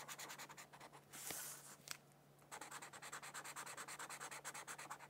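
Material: Paper.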